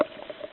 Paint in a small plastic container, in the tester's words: they're still liquid I can still use them you can hear it I'm shaking it up